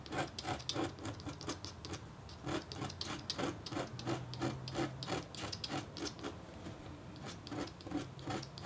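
A metal-tipped engraving stylus scratches a flat, thin, black-coated copper-foil scratch-art board in continuous strokes. It makes a quiet, bright, rasping scrape, about three strokes per second in an uneven rhythm, with a faint low tonal edge.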